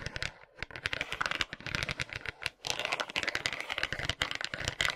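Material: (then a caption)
Bamboo. Tiny plastic hands scratch and tap across the rounded wooden pins and solid curved back of a bamboo massage brush. They make rapid, dry, bright clicks and scratchy rattles centred around 2 kHz. The clicks die away instantly, with brief pauses near the start and middle.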